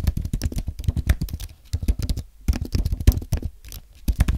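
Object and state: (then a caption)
Aluminium and plastic keyboard being typed on. Fingertips type on a compact white aluminium and plastic Apple keyboard. A quick, uneven run of soft, muted key taps is heard, each tap short and dull with a low thud and almost no ring, with brief pauses between bursts.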